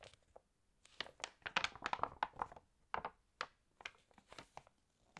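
Long nails and fingertips turn the pages of an open glossy paper fashion magazine and rub across the paper spread. The result is a quiet series of crisp, bright crinkling and rustling bursts with short gaps between them and almost no low end.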